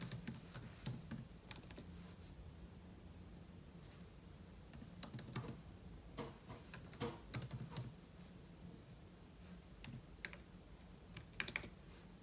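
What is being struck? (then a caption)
Laptop keyboard with plastic keys. Fingertips type on the plastic keys of a silver aluminum laptop, with an open book lying untouched beside it. Quick, bright clicking taps come in irregular bursts over a steady low hum.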